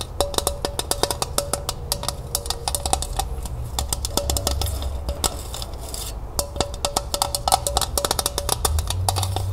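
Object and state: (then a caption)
Empty tin pail. A small, empty, striped glossy tin pail with an orange ribbon handle is held sideways while long nails tap fast on its hollow body. The result is rapid, bright, clicky taps with a faint metallic ring near 770 Hz that dies almost instantly, over a steady low rumble.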